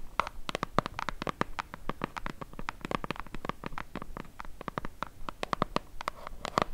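Long nails scratch and tap along the printed side of a small, hollow, white cardboard box held in both hands. Dozens of quick, dry clicks and taps follow one another in a steady, irregular patter, each dying away instantly with a light papery scratch between them.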